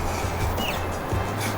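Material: Nothing is struck.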